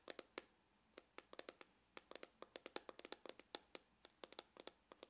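Fingernails tap and scratch near the seam on the side of a hollow, dark grained faux-leather hard glasses case. About thirty short, dry, bright clicks come in irregular bursts with quiet gaps between, each dying away almost at once with no low-end body.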